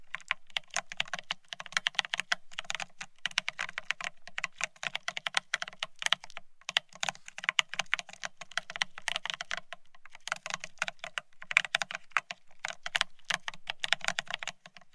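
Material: Plastic.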